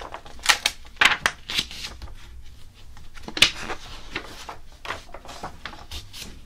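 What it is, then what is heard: Glossy paper magazine. Fingers rub and scratch the smooth coated pages of an open glossy paper magazine resting on a blue table, staying on the same spread throughout. The result is a string of dry, bright scratchy rustles with several sharper papery swipes standing out in the first half, short-lived and with little low end.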